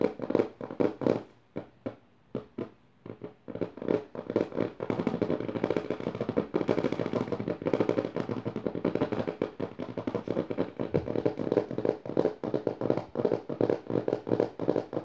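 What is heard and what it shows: Long nails rapidly tap and scratch the dotted paper pages of an open notebook with both hands. Sharp, separate taps with brief quiet gaps open the clip, then give way after a few seconds to a dense, continuous papery scratching, studded with quick taps that run to the end. The sound is dry and midrange-heavy, with little low end.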